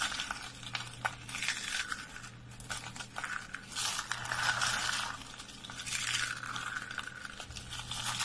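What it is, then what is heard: Dry, brittle soap curls. A hand scoops up a pile of brittle, dry lavender soap curls and flakes and crushes them in a fist. The result is dense, bright crunching and crackling that swells in louder bursts and fades between them, over a faint steady low hum.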